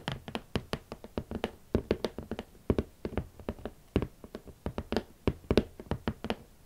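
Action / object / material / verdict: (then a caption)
tap / cardboard shoe box / cardboard / none. Long nails tap the lid of a large, closed, hollow red cardboard boot box in a quick, uneven rhythm of about 33 short taps. Each tap is a dry, hollow knock with a low-mid body that dies away almost instantly.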